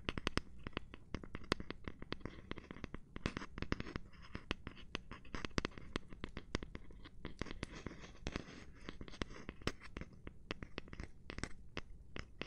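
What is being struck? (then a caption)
Cork surface. Gloved hands tap, rub and scratch a cork surface. Quick, dry, close taps land in dense runs over a steady low, scratchy rubbing. Each tap dies almost instantly, and the overall sound stays soft and muffled.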